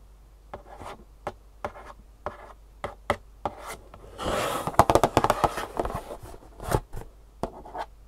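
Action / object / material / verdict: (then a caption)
tap / cardboard box with insoles inside / cardboard / none. Long fingernails tap and scratch across the glossy printed front of a long, rectangular, hollow cardboard shoe insole box with insoles inside. Sharp, dry taps come at an irregular pace, and a burst of fast scratching and rapid tapping fills the middle of the clip. Each tap stops almost at once with no ring.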